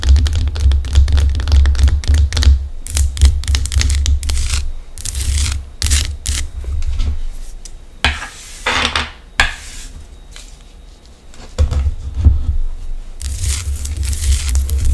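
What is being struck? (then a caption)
Rock-salt lamp. Long acrylic nails tap and scratch the surface of a large, solid pink Himalayan rock-salt lamp held tilted in hand. Quick, irregular taps and dry, bright scraping bursts sit over a steady low thumping rumble that dominates the sound.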